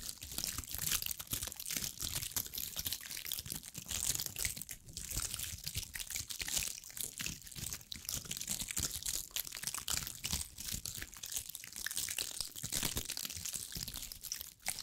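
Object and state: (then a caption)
Dried pine cone cluster. Long acrylic nails scratch and tap across a hand-sized bunch of small dried pine cones with woody scales. A steady stream of quiet, dry, crinkly crackles and quick clicks runs throughout. The sound is mostly bright and high, and each tick dies away almost instantly.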